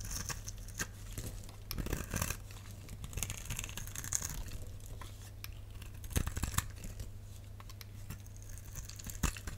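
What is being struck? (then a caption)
Glycerin soap bar. A box-cutter blade scores lines into a solid, clear, translucent rectangular glycerin soap bar held in the hand, then scrapes flakes off onto a pile below. Soft, dry scratching and crinkly scraping run throughout, broken by a few sharper, bright clicks. A steady low hum sits underneath.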